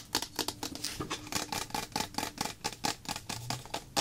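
A small, hollow white plastic bottle of clear PVA glue solution, apparently full, is held in the hand and tapped quickly with long black-polished nails. It gives a rapid run of about twenty light, bright clicks with a hollow plastic tone near 800 Hz. Each tap dies away almost at once.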